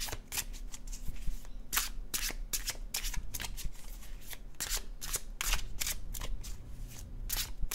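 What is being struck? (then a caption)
Paper cardstock card deck. An illustrated cardstock tarot deck is shuffled overhand in both hands, the cards sliding and flicking against each other. A quick series of short, bright papery bursts repeats throughout over a faint, steady low hum.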